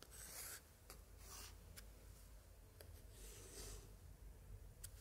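A thin pointer held in a white-gloved hand scratches and traces across glued paper picture cards on an open spread of an 1880s antique scrapbook. Soft, dry scraping and rubbing comes in bright bursts, punctuated by a few sharp ticks, over a faint low hum.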